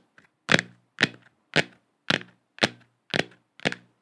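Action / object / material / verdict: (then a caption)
tap / hollow plastic moon lamp sphere / plastic / none. A lit, hand-sized hollow plastic moon lamp sphere with a galaxy print is held in both hands and tapped and scratched with long acrylic nails. Seven sharp, bright clicking taps land at a steady, unhurried pace, each followed by a brief scratchy, hollow resonance that fades quickly. A faint, soft tick is heard just before the first tap.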